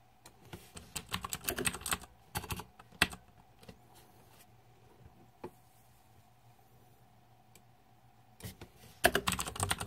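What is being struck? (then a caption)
Mechanical keyboard with plastic keycaps. Fingertips type on the plastic keycaps of a green-backlit Razer 2014 Deathadder mechanical keyboard, producing quick, bright clacking keystrokes in dense bursts. A quieter stretch in the middle has only a few isolated clicks over a faint steady hum, before a final loud flurry of typing.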